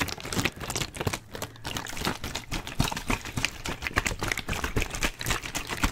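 A clear plastic water bottle with a blue cap is held in one hand while the fingertips and nails of the other hand tap fast on the cap and label area. The result is a dense, continuous run of short, dry clicks and hollow taps, each dying away almost at once, with a soft low thump under bright, crisp edges.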